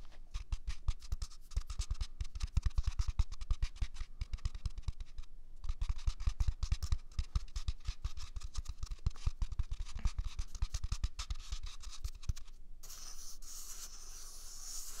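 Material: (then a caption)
Paper. A single large white paper toilet roll with a hollow core is held against the left ear of a microphone and scratched quickly with fingertips and nails. The result is a dense run of fast, dry scratches with soft low thumps, a brief pause near the middle, and a shift near the end to a steadier, brighter rubbing hiss.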